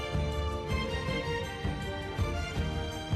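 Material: Nothing is struck.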